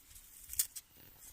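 A still-hot piece of charred pine cone biochar, fresh from a cast iron bathtub kiln built with fire bricks, is broken apart. Two short, bright, glassy cracks snap out high above faint low rumble. The glass-like sound marks it as well-charred biochar with its volatile oils driven off.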